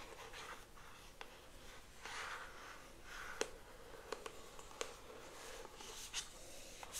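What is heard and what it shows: A pink cardboard hairbrush box held in one hand is scratched and tapped by long acrylic nails across its printed front and edges. Soft, papery scratching swells and fades, broken by several short, sharp clicks of nails tapping the cardboard. The sound stays quiet and dry, with each tap ending almost instantly.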